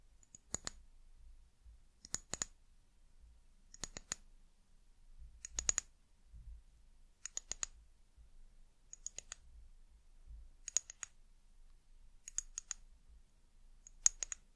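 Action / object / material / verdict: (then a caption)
tap / glass bottle tapped with fingernails / glass / none. Long nails tap an amber glass bottle held in both hands, making quick bursts of two or three sharp, bright clicks about every one and a half seconds. Each tap dies away almost instantly, leaving a quiet, dry pause with a faint low rumble between bursts.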